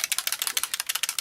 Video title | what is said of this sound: Paint Resist Background | shake it up you can hear because there is a mixing ball in there